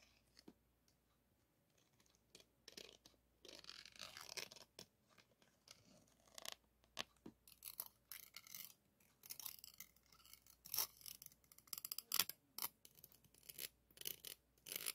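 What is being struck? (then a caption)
Steel-wire mesh microphone grille rubbed and tapped with a plastic spoon. A white plastic spoon held by hand is rubbed and tapped over the top and side of a microphone's hollow, rounded woven steel-wire mesh grille. Quiet, bright scratching and crisp clicking taps come in irregular bursts, with a steadier rasping rub near the start and denser sharp taps toward the end.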